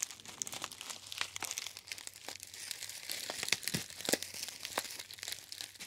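A gold metallized foil tea bag pouch, held in both hands, is crinkled by the fingertips. It makes a steady stream of bright, sharp crackles and crisp rustles that stop quickly, with louder snaps now and then over a faint low hum.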